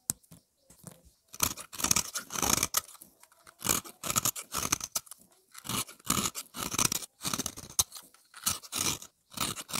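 A solid, round, pale peach bar of dry soap held in the fingers is scraped and shaved with the edge of a utility-knife blade, carving a hollow into the bar. Short, dry, bright crunching scrapes come in repeated bursts with brief silences between strokes. Fine soap powder and flakes come away from the bar.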